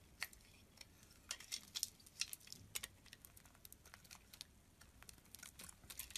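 A metal utility knife blade shaves thin slices off a solid, faceted cream soap bar held in the hand. Soft, bright, crisp scraping crackles and ticks come in quick, irregular bursts over a quiet background hiss. Each tiny snap dies away almost instantly.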